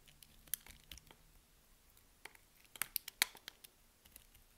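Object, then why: Bar of soap cut with a blade. A box-cutter blade cuts and scrapes small cubes off the grid-scored surface of a solid pink soap bar held in the hand. Quiet, bright, crisp clicks and short scratchy crackles come in scattered bursts, with the sharpest snaps clustered toward the middle, and each dies away almost instantly.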